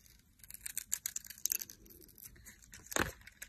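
A utility knife blade shaves the edges of a solid orange Imperial Leather bar of soap, held in a hand with long nails, into curls. Quick, crisp, bright scraping strokes follow one another, with a louder, fuller cut near the end.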